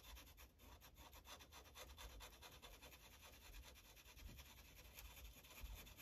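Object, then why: Paper sheet on clipboard. A yellow Sharpie marker tip rubs back and forth in coloring strokes across a thin paper coloring page resting on a clipboard. The result is a quiet, steady run of soft, scratchy rubbing strokes with a bright papery hiss and a faint low thump from the clipboard beneath.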